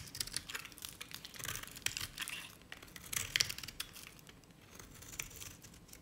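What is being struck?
Bar of soap scraped with a knife blade.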